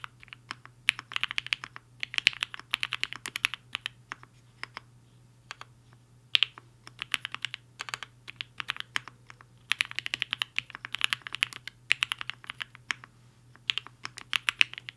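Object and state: Mechanical keyboard with plastic keycaps.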